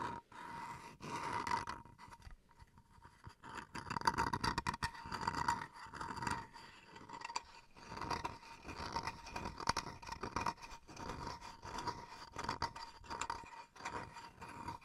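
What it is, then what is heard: Bamboo cutting board being scratched. Fingernails scratch the edge and the underside of a small, solid bamboo wood chopping board. The result is a string of dry, rasping scrapes in short bursts with brief pauses between them, over a faint steady tone near 920 Hz.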